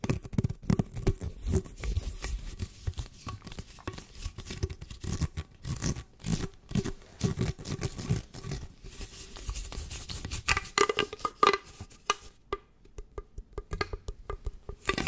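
Fingernails scratch and run rapidly over the ridges of an orange corrugated plastic tube bent into an arch in front of the mic. The result is a dense, uneven stream of quick rasping clicks and scrapes with a faint ringing tone near 1.2 kHz. The pace thins out briefly toward the end.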